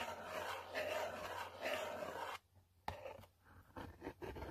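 A long pointed nail scratches back and forth over the printed text on a yellow cardboard selfie stick box. Soft, rasping scrapes swell and fade for about two seconds, then a brief near-silence is broken by a sharp tap and shorter scratching strokes.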